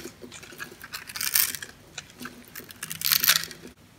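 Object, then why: Bar of soap shaved with a metal blade. A metal blade shaves the scored surface of a solid pink bar soap into small cubes, making crisp, bright crunching scrapes that swell in two louder bursts. The small cubes fall onto the table, with faint soft clicks between the cuts.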